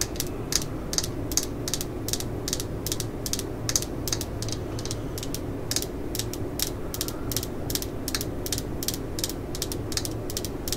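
Fingernails tap and scratch on the grip of a black and yellow Stanley plastic screwdriver handle. A rapid, even run of short, bright, ratchet-like clicks sits over a steady low hum, and each click dies away almost instantly.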